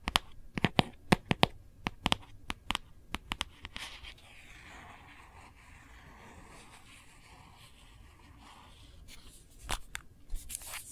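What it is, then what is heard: Hard plastic phone case. Long nails tap and scratch across the back of a phone in a hard, printed plastic case. Crisp, dry clicks come in quick irregular bursts, then give way to a soft, hissy scratching, and a few sharp taps return near the end.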